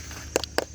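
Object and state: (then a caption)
Ripe durian. A durian is tapped twice with a knife or metal tool, giving two short, hollow knocks with a mid-low body around 500 Hz and a bright click on top. The knocks sound loose rather than tight, which marks the fruit as ripe. Opened, it has a strong smell and is crisp outside and soft inside.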